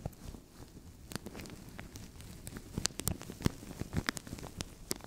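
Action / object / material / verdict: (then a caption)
scrape / thin plastic bag / plastic / none. Fingertips and nails scratch and crinkle a translucent thin plastic bag stretched over a microphone. A soft, low rustling bed is broken by sharp, bright crackles and clicks that grow louder and more frequent in the second half.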